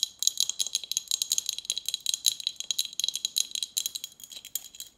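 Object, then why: Glass bottle with metal cap. Long nails tap and scratch a partly full Snapple glass bottle with a metal cap and plastic label. The result is a fast, uneven run of sharp, bright clicks and ticks with glassy high tones. Each hit dies away almost instantly, and the sound has no low end.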